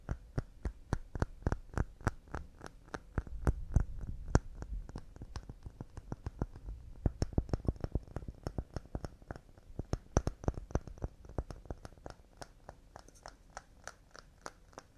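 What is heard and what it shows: Fast, delicate tapping on pine wood cups makes a rapid, steady stream of short, dry knocks. The taps are dull and low-pitched, each dying away almost instantly, with a faint bright click on top.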